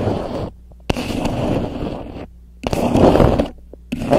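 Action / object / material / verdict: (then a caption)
scrape / beeswax-coated cotton wrap / waxed cotton / none. A grey polka-dot beeswax-coated cotton wrap, a thin sheet laid over the top of a microphone, is rubbed and scratched with long nails. Close, crinkly rustling and scraping comes in several bursts separated by near-silent gaps, with a few sharp ticks between them over a low steady hum.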